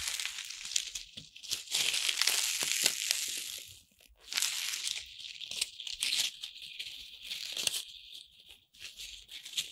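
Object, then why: Corn starch foam playcorn pieces. Small, light, colorful corn starch foam playcorn pieces are held by the handful in both palms while fingertips with long red nails rub, squeeze and rattle them. The result is a dense, bright, high-pitched crinkling and squeaky rustle in uneven bursts, with a brief near-silence around four seconds. A few pieces drop.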